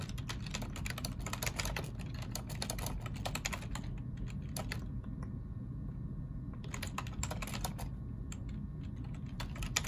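Two hands type rapidly with their fingertips on a black plastic ergonomic keyboard, producing dense bursts of bright, sharp clicks over a steady low hum. The typing runs for about four seconds, pauses with only a few stray keystrokes, then resumes in a second flurry before trailing off into scattered taps.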